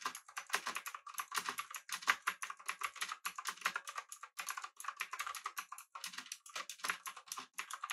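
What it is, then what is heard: Mechanical keyboard being typed on. Both hands type with their fingertips on a full-size, backlit, typewriter-style mechanical keyboard with an aluminum body and round plastic keycaps. The keys give a steady run of quick, bright clicks and clacks at an uneven rhythm. The clicks are crisp and die away almost at once.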